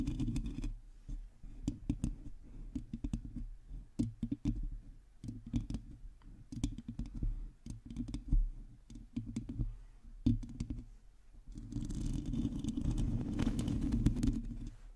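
A hollow domed metal mesh microphone grille is scratched and tapped with long teal acrylic nails from both hands. The clip is full of rapid, dry clicking taps over a low, boomy rumble. Near the end, the sound shifts into a denser, continuous scratching with a brighter hiss.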